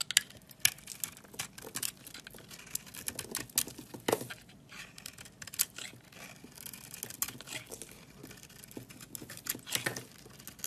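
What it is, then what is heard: Bar of soap being shaved. A box-cutter blade shaves white flakes off a solid white bar of soap with a purple-crusted rim, held in the hand. A quick series of dry, crisp scraping and crackling cuts sounds bright and close, with short sharp peaks and almost no low end.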